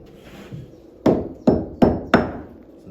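A wooden beam eaten by wood-boring insects is struck four times, giving dull, muffled thuds with a low-mid body and little ring. The hollow, dead tone sounds different from healthy wood and marks the beam as attacked.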